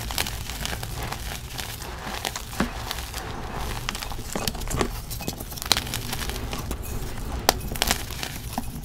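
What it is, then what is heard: Gym chalk and sand slab being crushed. Small pieces of a solid, crumbly pressed gym chalk slab made of magnesium carbonate and sand are squeezed and crumbled between fingers and palms over a plastic tub of white powder. Dense, dry crunching and crackling runs throughout, with sharp bright snaps scattered over a steady low rumble.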